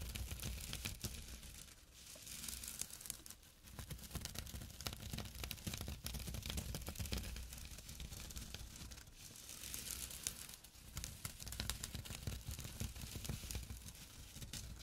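A small, flat, empty jute burlap drawstring pouch lying on dark cloth is scratched with short fingernails and fingertips. The result is a dense, rough, rasping scratch with a bright, papery hiss over a low rumble, easing off briefly around 3.5 and 10.5 seconds before continuing.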